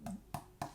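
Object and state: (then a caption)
Violin back plate with a tap tone lower than usual. Three taps on a finished redwood violin back plate of dense wood thinned to about 2.2 mm and weighing about 104 g, each giving a short, woody knock with a brief pitched ring. The tap tone sits at a D, lower than the usual E to F sharp. The plate is accepted anyway because it feels right when flexed.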